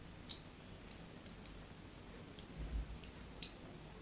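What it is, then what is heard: Bar of soap scored with a blade. A metal blade scores along the surface of a solid white bar of soap held in the palm, giving sharp, bright clicks and faint ticks spaced through the clip. A soft low rumble sits underneath in the otherwise quiet background.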